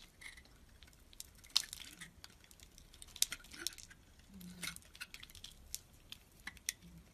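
A steel utility knife blade shaves a solid white oval bar of soap held in the palm, sending flakes falling. Quiet, bright scraping and crisp crackling come in irregular short strokes, punctuated by a few sharp, very brief ticks with almost no ring.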